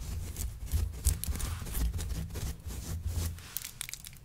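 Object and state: Faux fur rug being scratched.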